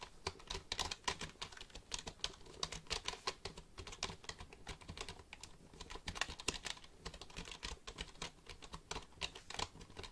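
Fingertips tap the keys of a black plastic computer keyboard held close to the microphone. The result is a steady run of quick, bright plastic clicks with very short decay and uneven spacing, like continuous typing over a faint low hum.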